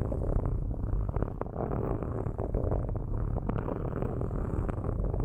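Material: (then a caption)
Metal. Straight metal sticks scratch the metal mesh grilles on top of two black microphones. The result is a steady, dense, low rumbling scrape with rapid crackling ticks throughout and almost no bright content.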